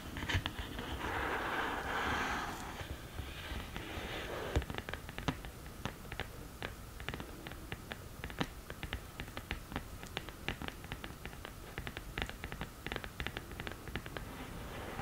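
Long nails scratch across the textured surface of a black glittery cardboard eyeshadow palette lid, making a dry, hissing rasp for the first few seconds. The nails then switch to quick, irregular tapping, producing dozens of short, crisp clicks with a papery, slightly hollow tone against a quiet background.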